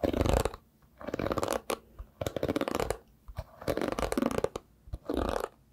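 Fingertips brush and pluck across the dense dark synthetic bristles of a hairbrush with a round wooden back, held in the other hand. Short bursts of soft, scratchy rustling come in repeated strokes separated by brief pauses, with a few crisp plucks in between. The sound is mostly low-mid and dull, with little bright content.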